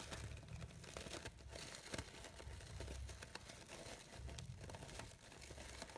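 A light-blue, glittery blue organza fabric rose has its synthetic petals rustled with fingertips and nails. The result is a steady, quiet crinkling and crisp scratching, with small bright ticks and a soft low rumble underneath.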